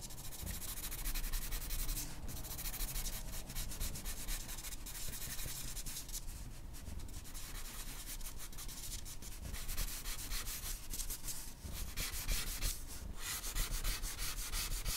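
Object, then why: Charcoal pencil on paper sheet. The tip of an orange wooden charcoal pencil scratches across a flat white paper sheet, making fine drawing strokes around the eyes of a portrait. A steady, dry scratching and rubbing runs throughout, with short bright strokes over a low, soft background rumble.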